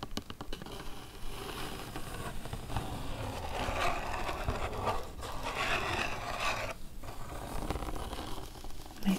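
Fingertips and long nails scratch and scrape along the raised clear plastic blister of a pack holding three baby spoons on a cardboard backing card, lying on a wooden table. The sound is a continuous, irregular run of dry scratching and crinkly scraping with brief soft plastic taps, ending in a slightly louder tap.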